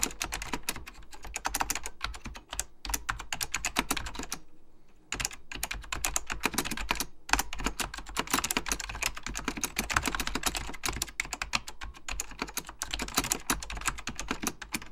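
Fingertips type quickly on an Apple Extended Keyboard II with beige plastic keycaps and a hollow plastic case, hands moving across the keys. Dense, bright, clacky key taps with a low hollow thump run steadily, broken by a short pause near five seconds and another briefly past seven seconds.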